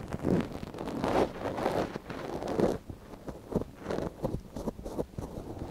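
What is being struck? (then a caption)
Silicone dummy ear of a binaural microphone scraped with a wooden ear pick. A thin wooden ear pick, held in a gloved hand, scratches inside the canal of a small, hollow white silicone dummy ear on a binaural microphone. The result is close, rustling scrapes, heavy in the low mids and with almost no bright content, in uneven strokes that come closer together toward the end.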